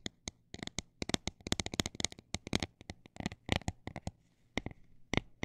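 Fingernails tap on a textured plastic item, sometimes fast and sometimes slow, making sharp, dry clicks that stop instantly with no ring. Quick clusters of taps alternate with slower, separate ones, and there are short quiet gaps between them.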